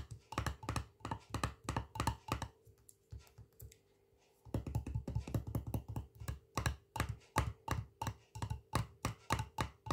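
Fingertips and nails tap the black metal screw lid and the glass side of a small, full glass jar of Colman's mint sauce with a paper label. About 40 quick, dull taps come in rapid bursts, with a quiet pause of a couple of seconds near the middle. Each tap is a soft, low thunk with a brief click and almost no ring.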